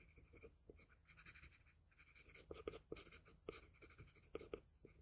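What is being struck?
Paper sheet scratched by a graphite pencil.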